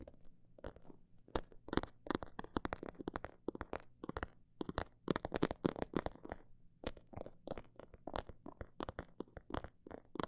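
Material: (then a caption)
Faux leather. Long black nails tap and scratch on a small snakeskin-print faux leather pouch held in both hands. Quick, dry taps come in fast and slow irregular bursts, mixed with short scratching strokes, each dying out almost instantly over a faint steady low hum.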